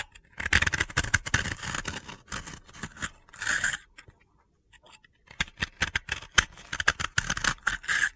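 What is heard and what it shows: A utility blade scrapes crumbly flakes off a solid, dry pink soap ball held in the hand. Dense, gritty, bright scraping strokes come in bursts, pause briefly near the middle, then resume in quick crunchy runs.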